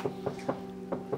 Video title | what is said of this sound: PINAKA MALAKAS NA TOYOTA COROLLA NA NASAKYAN KO!!! | Naka-deadening, no? Parang masilyado, parang Eurocar eh, oh. Mabigat ang tunog niya. Kaya pala tahimik sa loob.